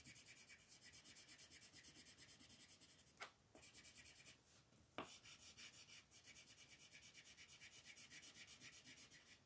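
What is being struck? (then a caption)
Colored pencil on a thin paper page. A green colored pencil scratches and rubs across a thin paper coloring book page on a table in quick, dense shading strokes. A steady, bright, raspy pulse of back-and-forth strokes runs throughout, broken by a brief quieter pause with a couple of sharper ticks as the strokes restart.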